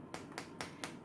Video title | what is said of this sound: Kim Makes Slow Roasted Pork Shoulder | Now if I tap it with a knife, you can hear it is crisp, perfect crackling, and that's thanks to the salt that we rubbed in there.